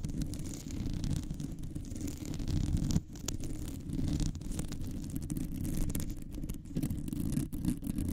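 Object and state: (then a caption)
Metal microphone mesh grille being scratched. Long nails on both hands scratch a round, hollow metal mesh microphone grille. The result is a steady, dense, rumbling scratch that sits mostly in the low range, with a brief dip just after three seconds and little bright content.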